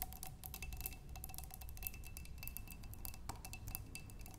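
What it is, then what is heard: Glass flower vase with water. Long nails tap quickly on a clear glass vase holding water and tulip stems. The result is a rapid run of light, bright clicks with short glassy rings over a steady low hum.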